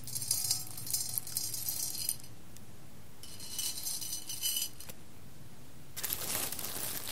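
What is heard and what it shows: Fingertips with long red nails grab whole roasted coffee beans and drop them back onto the pile and the bottom of a large clear glass bowl. Three bursts of bright, rattling clicks and glassy clinks sound, separated by quiet pauses, with a low murmur underneath.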